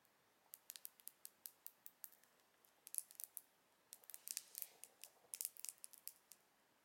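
Long acrylic nails tap and scratch along the length of a slim, closed, silver plastic mascara tube. The result is a quiet, uneven series of sharp, bright clicks and scrapes with no low end and no ring. The taps are spaced out at first, then bunch into faster clusters.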